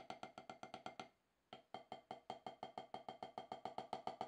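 Two wooden drumsticks tap repeatedly on a solid, octagonal HQ rubber-top snare practice pad, making 26 short, dry, woody clicks centred around 750 Hz with very little ring. A steady run of strokes pauses for about half a second and then resumes at a similar quick, even pace.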